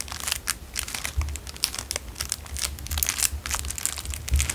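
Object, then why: Clear cellophane wrapper. A narrow clear cellophane plastic wrapper is squeezed and crinkled between fingers and thumbs. The result is dense, bright crackling in quick overlapping bursts, with soft low thumps underneath as the wrapper is pressed.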